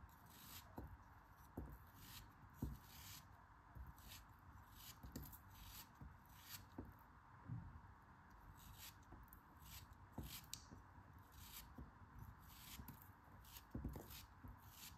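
A metal craft knife blade carves a block of pink kinetic sand in repeated cutting and scraping strokes. Each stroke gives a soft, quiet, crumbly scrape with a short crisp edge and a dull low thud, separated by brief gaps over a steady low hiss.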